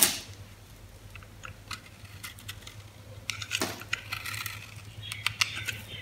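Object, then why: Soap bar cut with a metal blade. A metal utility blade scrapes and cuts slivers from the surface of a solid, hand-sized green oval bar of soap held in the palm. Sparse, bright little scratches and clicks at first grow into denser, crisp cutting and scraping from about the middle of the clip, over a low steady hum.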